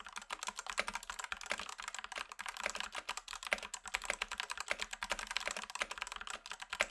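Fingertips type steadily on a black Rexus Daiva south-facing 65% 68-key gaming mechanical keyboard with a plastic case and plastic keycaps, resting on a grey desk. Rapid, short, bright clacks follow one another for the whole clip, each dying almost instantly, with almost no low end beneath them.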